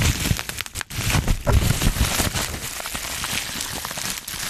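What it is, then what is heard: Plastic bubble wrap being popped and crinkled. A small sheet of clear plastic bubble wrap is held up close to the mic while fingertips pinch, pop and crinkle its air bubbles. Dense, steady crinkling and crackling fills the clip, broken by short, sharp pops with a bright edge and a thumpy low end. The snaps die away almost instantly, leaving a continuous rustling texture.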